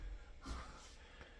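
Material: Nothing is struck.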